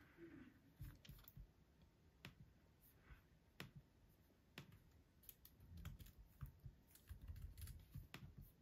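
Fingertips tap the plastic keys of an aluminum laptop at a slow, clicky pace. The sound is quiet, with short, dry clicks that carry a soft low thump and a brief bright tick at irregular intervals.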